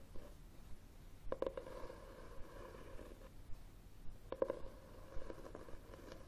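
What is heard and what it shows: Fingernails scratch the cover of a red textured cloth hardcover book held upright on a table. The quiet, low, rough scratching comes in short strokes with a faint mid-pitched rasp and brief sharper catches on the weave.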